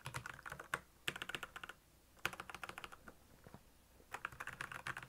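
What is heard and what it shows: Fingertips type on a black plastic mechanical keyboard with backlit keys, producing bursts of quick, bright clicky keystrokes. The bursts are separated by short pauses. Each keystroke has a crisp, short-lived tick centered in the upper mids with little low end.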